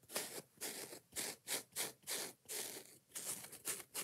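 Long nails scratch and tap quickly on the soft yellow foam side of a kitchen scrub sponge with a scouring pad. The result is a rapid series of bright, hissy scratching bursts with short, soft taps and almost no low end.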